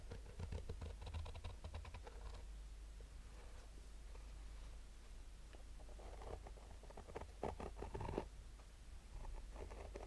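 Fingernails slowly scratch and tap the black textured nylon fabric of a rigid, hollow hard-shell sunglasses case held in the hands. The result is a quiet, dry rasping with soft, short taps, over a steady low rumble.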